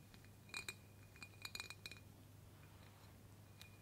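Long, pointed black fake claw nails tap and click on the side of a clear embossed glass mason jar filled with pink confetti. Nine short, bright clinks ring at a glassy tone near 2.4 kHz, some quick pairs and a last one after a pause, each dying away almost at once over a steady low hum.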